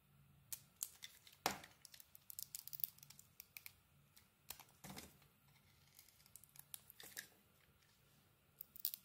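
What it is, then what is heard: Bar soap being carved. A small metal blade carves and scrapes the embossed outer layer off a solid beige Lux-branded bar soap held in the hand, peeling it away in curls. Quiet, bright, dry scraping and shaving strokes come in irregular short bursts, with a few sharper, louder cuts standing out over a faint low hum.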